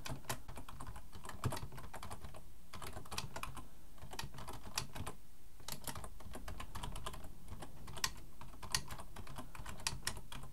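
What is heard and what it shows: Both hands type with their fingertips on a black plastic full-size computer keyboard resting on a wooden desk. The result is a steady, quiet run of rapid key clicks, each a bright tap over a soft low thump, with a few slightly louder strokes scattered through.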